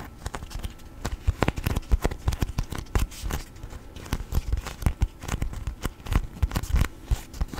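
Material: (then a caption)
Waxed cotton. A thin yellow sheet of beeswax-coated cotton food wrap is held up, folded, creased, bent and rubbed with fingertips. This gives a dense run of short, waxy crinkles and crackles that stop dead with no ring. The sound is mostly soft and low, with brief brighter snaps.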